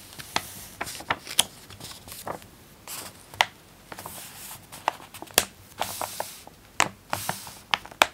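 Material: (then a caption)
Glossy paper. A thin glossy-paper teen magazine lying on a pink blanket is opened from the cover, and its pages are rubbed and smoothed with fingertips and long painted nails. Soft, bright rustling and sliding fills the quiet, broken by sharp paper snaps and taps. The sound stays thin and crisp with almost no low end.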